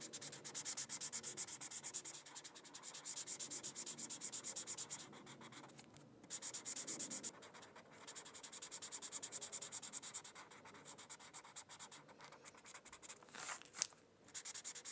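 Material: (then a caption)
Paper. A felt-tip marker is rubbed in coloring strokes across a thin paper coloring sheet resting on a hardcover book. It makes a steady, bright, scratchy hiss of quick back-and-forth strokes, with short pauses between passes and a sharper, louder swipe near the end.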